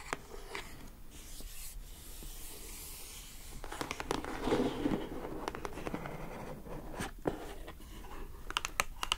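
Long acrylic nails rub and scratch across the lid of a closed lilac glossy-coated cardboard gift box. Soft, steady scraping and brushing is broken by sharp, dry scratch transients that grow denser toward the end.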